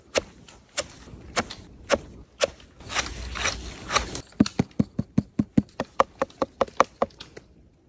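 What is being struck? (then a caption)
Bolete mushroom cap. A wild manzanita bolete mushroom (Leccinum manzanitae) found in Mendocino is tapped repeatedly before being sliced. A few slow, evenly spaced dull taps give way to a soft brushing rustle, then a quicker run of short, crisp knocks with a hollow mid-pitched tone and almost no ring.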